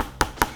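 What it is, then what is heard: Padel racket with a firmer, denser rubber core. Two sharp taps on a standard Metalbone 3.1 padel racket, which has a denser, harder core rubber, presented as the normal racket for comparison with the softer Ctrl version. Each tap is a short, dry knock centered around 950 Hz that dies away almost instantly.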